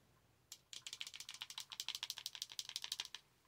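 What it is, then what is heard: Plastic cold cup. Long acrylic nails tap and shake a reusable clear plastic Starbucks cold cup with a lid, held up close and partly filled with a light liquid or contents. A quick run of sharp, bright, rattly clicks follows one another with almost no ring, starting after a single early tap and stopping abruptly.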